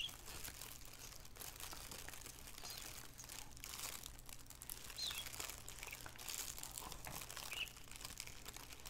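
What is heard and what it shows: Both hands crinkle and rub the film of an empty, thin black plastic shower cap with an elastic edge, lying flat on a wooden table, using fingertips and nails. A steady stream of soft, bright crinkling and rustling continues throughout over a faint low hum, with occasional slightly louder crackles.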